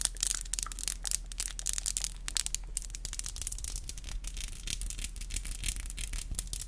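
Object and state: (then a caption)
Acrylic nails tapped and rubbed together. Long black acrylic nails are tapped and rubbed against each other, nail on nail. Quick, dry, bright clicks come in rapid irregular bursts, mixed with scratchy rubbing, over a steady low hum.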